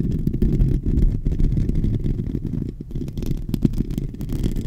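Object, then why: Metal mesh microphone grille. Short nails on both hands scratch the hollow metal mesh grille of a silver microphone. The result is a dense, irregular, rumbling scrape that sits almost entirely in the low range, with quick crackly bursts and no ringing.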